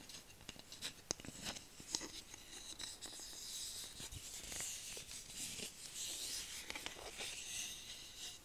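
A flat, solid bamboo cooking spatula about 30 cm long is held in both hands and scratched and tapped with long painted nails. Soft, bright scratching runs throughout, broken by short, sharp taps that die away almost at once. There is very little low end.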